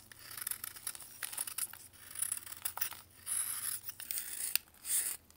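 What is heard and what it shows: A metal knife scrapes the surface of a solid white pressed baking soda block held in blue gloves, shedding powder. Quiet, bright, crisp scraping and crumbling comes in a run of short rasping strokes and bursts, with almost no low end.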